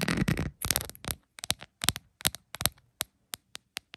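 Long pointed acrylic nails scratch and tap on a rhinestone-covered plastic phone case lying flat. It opens with dense, crackly scratching, then turns into sharp, dry, bright clicking taps that come more sparsely and spaced apart toward the end.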